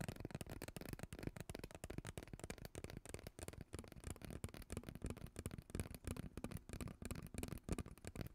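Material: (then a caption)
Plastic. Long nails scratch and tap a hollow, purple, ribbed plastic pop tube as it is moved around close to the mic. The result is a dense run of quick, dry clicks and raspy scratches over a soft, low-heavy rustle, with no ring after each tap.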